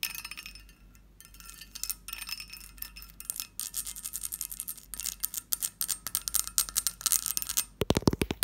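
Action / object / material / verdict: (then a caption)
tap / textured cut-glass lidded dish / glass / none. A long nail taps the lid of a hollow, textured cut-glass covered dish near its knob, producing rapid, bright clinking taps with short chime-like rings. The tapping starts sparse and quiet, then grows denser and louder, ending in a few sharper, fuller strikes.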